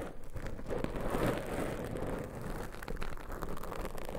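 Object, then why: Foam microphone windscreen. Long pointed nail tips scratch two soft black foam microphone windscreens, producing a steady, dense crackling rustle. The sound is mostly low and muffled, with faint brighter scratchy texture on top.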